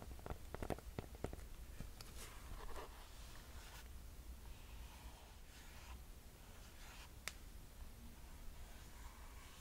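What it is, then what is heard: Mesh running shoe. Long nails tap on the white foam and rubber sole and the mesh upper of an empty mint green mesh Nike running shoe. A quick cluster of sharp, dry clicks comes first, followed by softer brushing against the mesh and a few isolated taps later. Everything sits quietly over a steady low hum.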